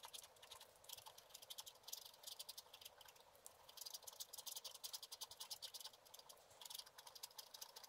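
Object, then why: Coated scratch art paper scraped with a wooden stylus. A wooden stylus scratches a thin, solid black-coated scratch art card lying flat, in quick strokes. The result is a rapid run of dry, bright, high scratching bursts with almost no low end, each stroke short and crisp, coming in denser flurries partway through.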